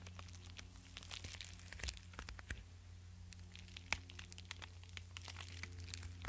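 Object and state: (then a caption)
Padded paper mailer envelope. A flat, likely empty yellow kraft-paper bubble mailer, about A5 size, is held in one hand while fingertips and nails scratch and rub across its paper surface. Quiet, dry crinkling and scratchy rustles come in quick, bright bursts, with a few sharper scrapes. A steady low hum runs underneath.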